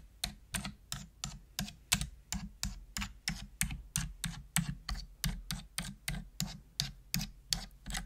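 Single hollow plastic keys on a full-size black plastic computer keyboard are pressed one at a time with a long-nailed fingertip in slow tapping. About 27 short, dry clicks follow one another at a steady but slightly uneven pace, each with a bright click on top of a low hollow thud. A soft low hum continues underneath.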